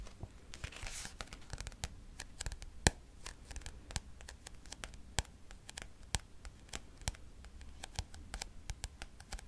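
Fingernails tap and scratch the turquoise glossy card cover and the edge of a thick paperback textbook with a solid paper block. Quick, sharp, dry clicks with almost no ring are scattered over a soft, low background, with a brief bright scratchy brush near the start.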